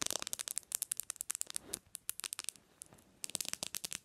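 Long nails rapidly tap the glass screen and edges of a bare black Samsung smartphone resting on a pillow. Crisp, bright clicks come in quick, uneven bursts, with almost no low end. A brief softer scratchy stretch and a short lull break up the tapping.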